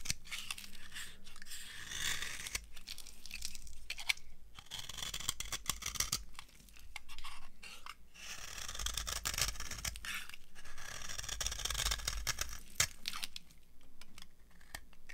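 A dry beige solid soap bar is carved with a metal knife blade held in the fingers. The result is a steady run of dry, crunchy scraping strokes with bright, hissy high-frequency texture. Between strokes there are brief pauses and a low background rumble.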